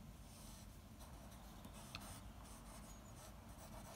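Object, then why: Graphite pencil on a paper drawing sheet. The graphite tip of a blue mechanical pencil, held in the fingers, scratches across a large flat sheet of white drawing paper bearing a comic panel sketch as lines are drawn. A quiet, steady, soft scratching runs over a low background rumble, with faint bright rasps. One slightly sharper tick stands out near the middle.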